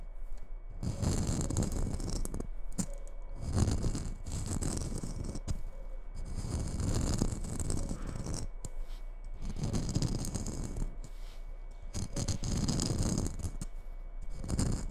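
A hollow red glitter-coated Christmas bauble with a metal cap, held in one hand, is scratched and tapped on its glittery surface with long nails. The result is dense, gritty scratching and light tapping in repeated bursts, with a soft low rumble underneath and a faint bright hiss, separated by brief quiet gaps.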